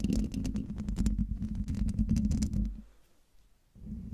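Long dark-painted nails scratch the hollow metal mesh grille of a silver Blue Yeti microphone, making a dense, rumbling run of close, scraping strokes with bright crackly ticks over a heavy low hum. The scratching stops around 2.7 seconds as the hand lifts away, leaving near-silence until the low rumble returns near the end.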